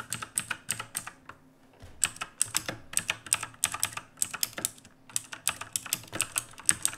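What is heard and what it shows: Fingertips of both hands type on the plastic keycaps of a black backlit mechanical keyboard resting on a wooden desk. Bright, sharp clicky keystrokes come in quick bursts, with a brief pause of about a second near the start and another around the five-second mark.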